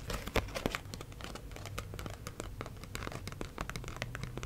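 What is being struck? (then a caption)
Paper banknote tapped and scratched with fingernails. Long acrylic nails tap and scratch the surface of a single US one-dollar paper bill held up in the air. Quick, irregular papery taps and crinkly scratches follow one another steadily over a low background hum, with a couple of sharper taps near the start.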